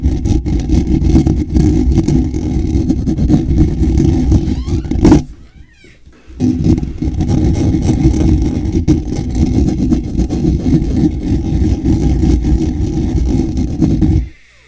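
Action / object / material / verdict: scrape / woven wire-mesh microphone grille / wire mesh / none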